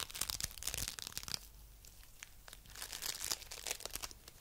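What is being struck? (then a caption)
Foam bead clay. A coral-pink lump of foam bead clay is held in the hands and squished, pressed and pulled with the fingertips. The result is bright, dense crackling and crunching with fast popping ticks. It comes in two busier bursts separated by a quieter stretch of faint rustling.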